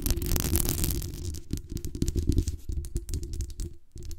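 Long acrylic nails scratch and tap the metal mesh grille on top of a black desktop USB condenser microphone with a hollow metal body, then tap along the body near the base and the gain knob. A dense, scratchy rustle over heavy low booming thuds gives way to a run of quick, separate, close-up taps, each with a deep, muffled resonance and a short bright click.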